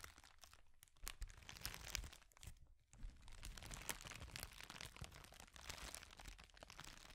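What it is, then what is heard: Plastic bubble wrap being crumpled. A clear plastic bubble wrap sheet, held in both hands, is crumpled and twisted with the fingers, giving a dense run of bright crinkling and crackling over a soft low rumble. A brief quieter stretch near the three-second mark breaks up the crackle before it resumes steadily to the end.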